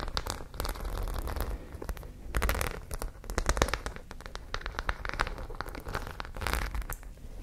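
Long nails scratch across the studs of a white studded fabric pouch held up close to the mic. The result is a dense run of rapid, dry scratching and clicking in uneven bursts, with bright crackly edges over a low, close rumble.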